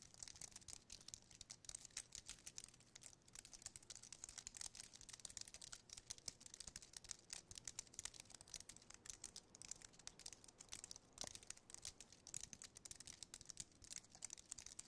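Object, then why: Aluminium and plastic wireless keyboard. Fingertips type and tap on the keys of a slim white aluminium and plastic wireless keyboard. The result is a quiet, steady stream of dense, short, bright clicks with almost no low end and no ring.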